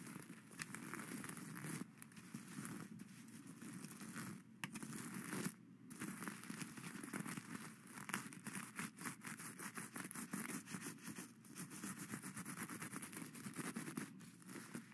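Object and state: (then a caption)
Plastic sequin fabric. A hand-sized flat pad of reversible plastic sequin fabric, with plastic sequins sewn on cloth, lies on a satin-covered round board and is scratched and brushed with plastic skeleton-hand grabber claws. The result is a continuous dense crinkling, crackling rustle with quick clicky scrapes and short pauses, quiet and centered in the low mids with some bright sparkle.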